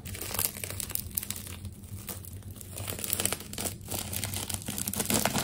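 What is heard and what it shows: A metal craft knife scores along the layers of a layered plastic tape ball, producing continuous crinkling and crackling with small tearing snaps over a steady low hum.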